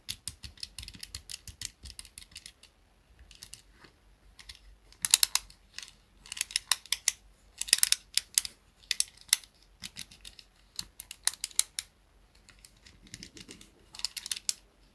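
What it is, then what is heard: Plastic pocket calculator. A small black plastic pocket calculator is held in both hands while fingers and nails press and tap its buttons. The result is bursts of quick, dry, bright clicks with almost no ring, separated by short pauses.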